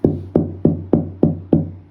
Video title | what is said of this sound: Silky oak Banjo Slayer incoming!! | Oh, that's a nice tight top right there.